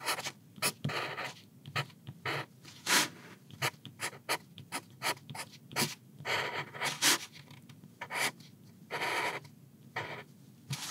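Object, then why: Graphite pencil on a paper notebook page. A soft 4B wooden pencil writes Chinese characters on a flat sheet of graph-ruled paper in a thin notebook lying on a wooden desk. The graphite tip scratches steadily across the page in a run of short, bright, dry strokes separated by brief pauses.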